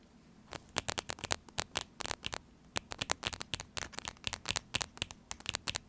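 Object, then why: Laminated foil-plastic food pouch. Fingernails tap and scratch across the surface of a small, sealed, full laminated foil-plastic tuna pouch. Quick, dry, bright clicks and crinkly scrapes come in irregular bursts, each dying almost instantly, with short quiet gaps between them.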